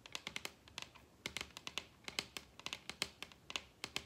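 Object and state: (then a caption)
Wooden table top tapped with nails. Long red fingernails tap rapidly across a large, solid wooden table top, making about 23 quick, bright clicks in an irregular rhythm. Each tap is sharp and dry, peaking near 3 kHz with almost no low end, and dies away almost instantly at a quiet level.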